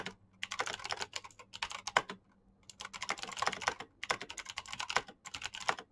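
Fast typing with the fingertips of both hands on a black plastic backlit mechanical keyboard with clicky switches. Bright, crisp clicks come in rapid, dense bursts, with a brief pause around the middle. Each keystroke dies away almost instantly.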